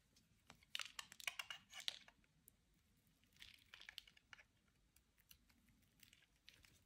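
A metal utility-knife blade scrapes and carves powdery, crumbly flakes off the edge of a solid, dry, hand-sized white oval bar of soap held in one hand. Quiet, bright, crisp scratching and crunching comes in irregular bursts, densest early and again midway, then thins to sparse light ticks.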